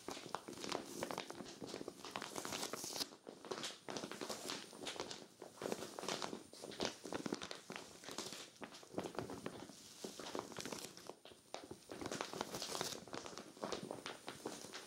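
Long nails on both hands scratch and crinkle the surface of a clear vinyl zippered storage bag full of cream knit sweaters. The result is a steady stream of quiet, bright crinkling and scratching with quick, dense ticks and little low end.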